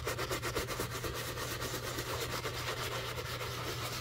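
A wooden-handled bristle brush scrubs the upper of a black leather shoe covered in soap foam. It makes a continuous wet, rhythmic rubbing sound with bright bristle hiss and a steady low hum underneath.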